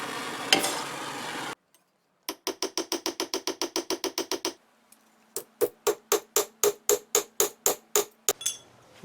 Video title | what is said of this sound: DIY Kistka | you can hear by the ring it's work hardened again now